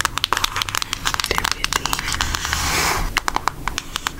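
Long almond acrylic nails tap and scratch a flat, rectangular, book-sized cardboard eyeshadow palette with a Hershey's milk chocolate design. The palette is hollow and thin and is held up in the air. A rapid series of sharp, bright, dry clicks sounds with almost no ring, and a longer hissy scratching swell rises in the middle before the quick tapping resumes.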